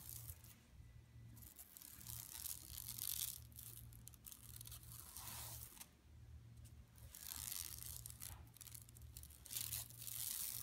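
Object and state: Woven plastic mesh shopping bag.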